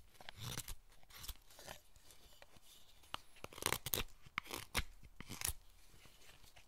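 A solid pale hinoki cypress carving block, held in the hand, is cut with a wooden-handled steel chisel in short cutting and scraping strokes into the wood. Dry, crisp scrapes and sharp snaps are heard as bright bursts with a faint low thump, separated by a quiet background.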